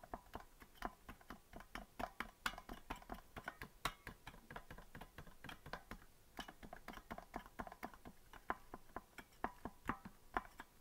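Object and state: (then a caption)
Plastic melodica keys clicking. Fingers tap several keys on a hollow green plastic melodica without blowing into it, making dry, short plastic clicks. The taps come quickly and unevenly, each with a bright click centered around 1 kHz and almost no ring. The result is a steady, typing-like patter of key clicks.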